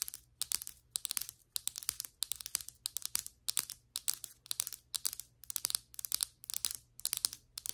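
Long white acrylic nails on both hands tap quickly across the surface of solid ceramic floor tiles. Rapid clusters of sharp, bright clicks arrive in rhythmic bursts with almost no low end and no ring after each tap, over a faint low hum.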